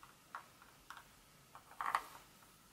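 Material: Chocolate.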